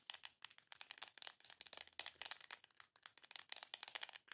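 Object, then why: Small cardboard box. Long nails quickly tap and scratch the surface of a small, long, hollow printed cardboard box. The result is a rapid run of dry, crisp clicks and scrapes that are mostly high and bright, with almost no low end and very little ring after each tap.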